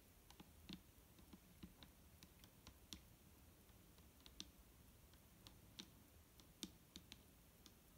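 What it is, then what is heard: Plastic bottle of liquid. Slow fingernail taps land on the side of a large, clear plastic micellar water bottle that is full of liquid and lying on a table. Each tap is a short, quiet click with a bright, high edge and a faint dull body around 200 Hz that dies away almost instantly. The taps come at uneven intervals over a steady low background hum.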